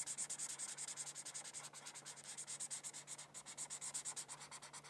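A felt-tip marker is rubbed back and forth across a thin paper coloring sheet resting on a hardcover book. It makes a quiet, rapid run of bright, scratchy strokes over a faint steady low hum.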